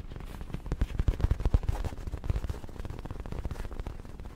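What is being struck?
Soft fabric throw pillow.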